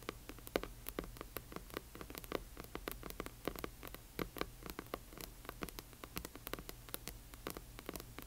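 Long fingernails on both hands tap and scratch the front of a large hardcover book with a glossy cover. A quiet, rapid patter of dry, sharp clicks with bright edges and no ring comes through over a steady low hum, the taps mixed with soft scratching in an uneven rhythm.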